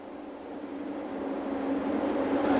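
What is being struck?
Nothing is struck.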